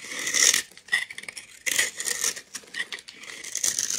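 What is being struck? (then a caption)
Bar of soap scraped with a steel blade. A steel utility knife blade scrapes and cuts into the surface of a solid, palm-sized, green glitter-coated bar of soap held in one hand. Bursts of bright, crisp scraping and crackling come and go with no low end as the coating shaves off. Bright green soap is exposed and crumbs fall.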